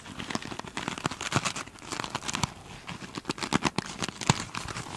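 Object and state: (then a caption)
Glitter-coated foam sponge scratched with nails. Long pointed chrome nails on both hands scratch the glittery top of a single hand-sized foam sponge with a soft, solid, beaded glitter surface. The result is a dense run of dry, crackling scratches with sharp bright ticks and soft rustling underneath, the strokes overlapping at a fairly steady low level.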